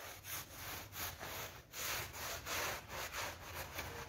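A soapy pink PVC vinyl coil loop door mat lying on a tiled floor is scrubbed with a hand brush held in a green rubber-gloved hand. Bristles rasp back and forth in a steady, bright, gritty rhythm of strokes, with a faint low hum underneath.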